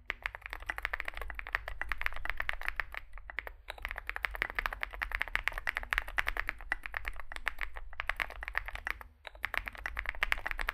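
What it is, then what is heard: Mechanical keyboard being typed on. Fingertips of two hands type rapidly on a Zoom65 65% mechanical keyboard with a dark metal case, white and grey SA-profile plastic keycaps and lubed switches, resting on a desk mat. Dense, short, bright clacky key taps run in steady bursts, with brief pauses near 3.5 and 9 seconds, over a faint low hum.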